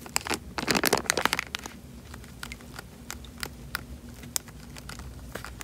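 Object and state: Plastic bag of water.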